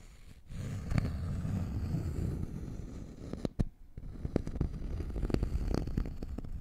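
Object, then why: Thin wooden notched trowel board. A thin, flat, solid wooden notched trowel board is held in one hand while fingernails scratch and tap its notched edge and face. A steady low, rumbling scratch runs throughout, broken by short, sharp taps that click and die away almost instantly.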